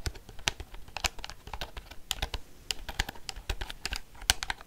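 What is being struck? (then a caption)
Plastic desk calculator. A black plastic desk calculator is held in the hand while its buttons are tapped and clicked with long fingernails. It makes a quick, uneven run of short, dry clicks that stop almost instantly, each with a bright top and a faint low knock beneath.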